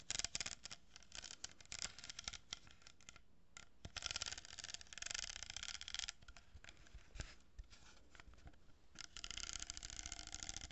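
Long nails scratch and tap an empty cardboard tube with an open end and a row of glued plastic pearl beads. The result is quiet, dry, bright scratching in dense bursts, broken by sharp little taps that stop almost at once.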